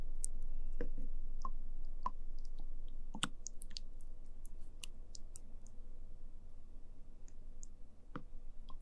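A small translucent plastic cup full of orange sticky jelly pudding is poked and stirred with a wooden spoon, recorded close beside the cup. Quiet, irregular sticky squishing clicks and bright wet ticks sound over a steady low hum.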